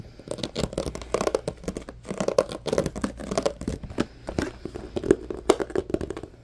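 A medium-sized, hollow, empty transparent plastic compartment organizer box is handled and rubbed with fingertips and nails. The result is a dense run of dry scratching, crinkly rubs and short tapping clicks with a hollow mid-range resonance. Many quick bursts overlap over about six seconds.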